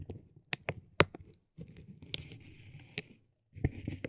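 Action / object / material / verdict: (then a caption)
tap / vinyl plastic film wrapped around a tape roll / vinyl plastic / none. A metal ball-tipped stick taps and rubs a soft, clear vinyl plastic bag wrapped around a roll of tape. The sharp, short crinkling taps are separated by brief silences, and a steadier, brighter rustle comes through when the stick rubs across the film.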